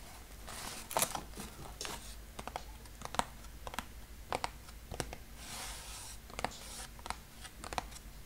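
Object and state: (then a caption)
Small cardboard box. A small square brown cardboard box is held over an open shipping box while fingertips tap and rub its top. Crisp, dry taps with quick, bright clicks alternate with soft, hissy scratching and rubbing over a faint low hum.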